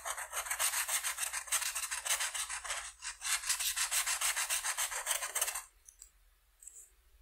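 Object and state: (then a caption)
Marker coloring on paper. A felt-tip marker held in the fingertips rubs back and forth across a single flat sheet of white paper with a butterfly outline lying on a table, coloring in the purple areas. Rapid, bright, scratchy strokes repeat about three times a second, with a brief dip near the three-second mark. The coloring stops at about 5.6 seconds, leaving near silence with a few faint, soft touches.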